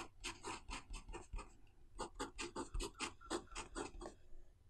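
A metal-nib fountain pen scratches across the thin white paper page of an open notebook lying flat on a desk as it writes Chinese characters. About seventeen short, raspy strokes come in two runs with a brief pause between them, each a bright scratch with a soft low thump from the pen pressing into the page.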